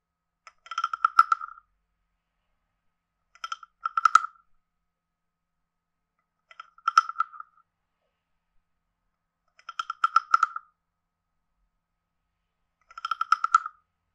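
A hand-sized, carved, hollow wooden frog guiro is played with a wooden stick that taps and scrapes along its head and ridged back. The clip has five separate bursts of quick, rattling clicks, each with a dry, woody midrange tone around 1.3 kHz and almost no ring.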